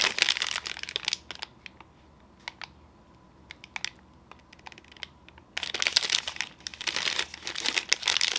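A sealed, full red Outright protein bar in a flexible plastic/foil wrapper is held in both hands and squeezed and crinkled with the fingertips. Bright, dense crinkling opens the clip and gives way to scattered sharp crackles and ticks over a quiet stretch. Loud, continuous crinkling then returns to the end.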